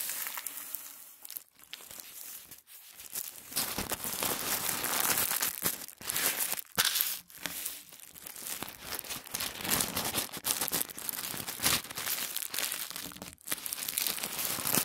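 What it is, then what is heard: Thin tissue paper. A flat strip of thin white tissue paper on a wooden table is smoothed and rubbed with the palms and fingertips. It makes a steady, bright crinkling and rustling with almost no low end, swelling and easing in waves with a few brief near-silent gaps.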